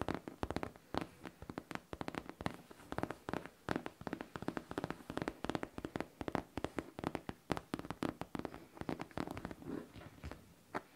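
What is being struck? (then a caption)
Faux leather backpack. Fingertips and long nails tap and scratch the surface of a hollow pink faux leather backpack. The result is a steady flurry of quick, dry taps mixed with scratchy brushing. Each tap dies away almost instantly, with a soft, muted tone centered in the low mids.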